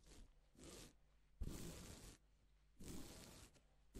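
Gloved fingers brush across pink and silver reversible plastic sequin fabric, flipping the sequins. Each stroke makes a soft, bright swishing rustle with a low rumble underneath, separated by short quiet gaps.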